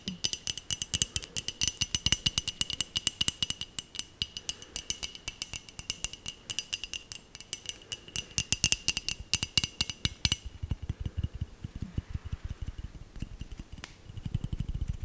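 Long nails rapidly tap and scratch a small, hollow, clear glass Christmas bell ornament with a glitter pattern, held in the hand, making dense, crisp clicks over a thin, bright glassy ring near 2.9 kHz. About two-thirds of the way through, the bright shimmer drops away, leaving softer ticks and scratches, and a low handling rumble rises at the very end.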